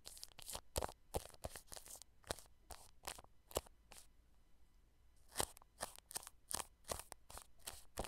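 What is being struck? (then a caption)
Plastic cling film stretched over a microphone. A paintbrush brushes clear plastic cling film wrapped over a microphone grille, making close, crinkly brushing sounds. Sharp, bright crackles come in quick irregular bursts with a short quieter stretch in the middle. Each crackle is dry and dies away almost at once.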